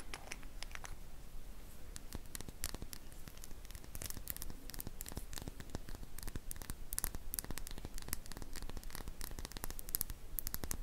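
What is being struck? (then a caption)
Small glass dropper bottle. Long painted fingernails tap and scratch a small glass serum dropper bottle with a silver cap, which appears to hold liquid and is held in one hand. Quick, irregular bright clicks and dry scratching strokes keep up a steady patter throughout, each tick very short with almost no ring.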